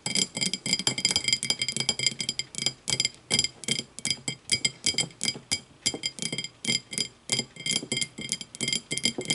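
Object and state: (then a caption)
Empty glass tumbler. An empty, clear, thick-bottomed glass tumbler standing upright is tapped rapidly with the long matte nails of both hands. The result is a steady stream of bright, high clinking ticks that die away almost instantly, with a little low knock beneath some of the taps.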